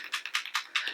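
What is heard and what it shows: A plastic KVD True Portrait liquid-to-powder foundation bottle with a small mixing ball inside is shaken to thicken the product. Seven quick, bright rattling clicks are heard as the ball knocks around inside. The foundation still ends up too liquidy.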